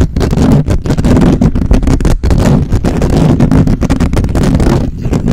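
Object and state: Metal mesh microphone grille being scratched.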